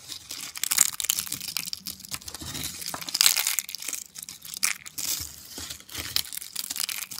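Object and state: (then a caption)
Dry soap flakes. A pile of thin, dry, brittle orange soap flakes on a white surface is crushed and crumbled between the fingertips of both hands. It makes dense, crisp crackling and crunching in quick, bright bursts with almost no low end. The flakes break apart steadily throughout.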